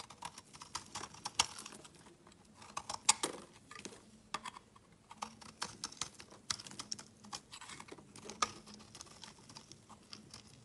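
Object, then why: Bar of soap cut with a blade. A utility knife shaves dense, crumbly strips off a solid, opaque, yellow rectangular bar of soap. The result is a quiet, irregular patter of short, crisp scraping and crackling ticks, bright and dry with almost no low end.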